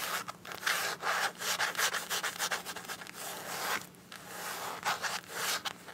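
Long acrylic nails scratch and tap across the surface of a small, flat, soft green printed fabric (coated canvas) zip pouch that appears empty. The result is a run of dry, bright, hissy scratching strokes with light taps mixed in, rising and falling in short bursts with brief pauses between them.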